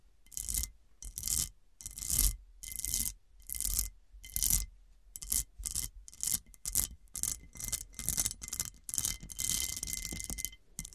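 Long painted nails scratch and tap across the faceted top of a solid, ring-shaped, heavily cut glass dish lying flat. The result is a steady series of short, bright, gritty scratching bursts separated by brief silences. Faint glassy tones ring through under the scratching.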